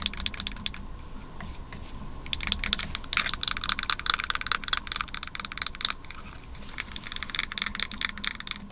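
Long nails tap rapidly on the underside and white plastic top of a small white plastic-and-aluminum Magic Mouse held in the hands. The result is a dense run of sharp, bright clicks that die away almost instantly, with softer, quieter tapping around two seconds in and again near six and a half seconds.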